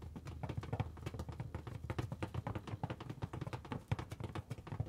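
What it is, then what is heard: Rubber balloon. Long nails and fingertips tap and rub the surface of a large, taut, hollow red latex balloon held in both hands. A rapid, uneven series of soft, dull, low thumps, each dying away almost at once, with a faint scratchy rub in between.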